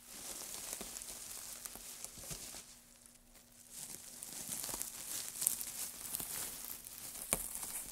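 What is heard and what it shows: Gloved hands dig into, scoop and rustle a pile of thin, dry wood shavings on a dark surface. The result is a crisp, bright crinkling rustle with scattered sharp crackles, which dips into a quieter lull around the third second before building back up with a few louder snaps.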